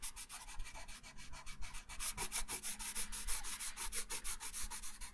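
A wooden colored pencil held in the right hand rubs and scratches colour onto a thin printed paper coloring sheet lying flat on a wooden table. Quick, steady back-and-forth strokes make a dry, bright, papery scratching that grows slightly louder and crisper after the first two seconds.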